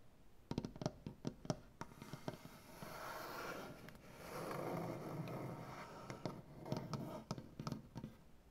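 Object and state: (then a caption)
Wooden butcher block table. Fingernails on both hands work over a solid, light wood butcher block tabletop. Clusters of short, dry taps open and close the clip, and in between comes a steady, breathy scratching across the grain that swells and fades.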